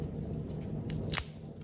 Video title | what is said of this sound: The Best Side Dish EVER! (These are NOT French Fries)! | see how crispy that is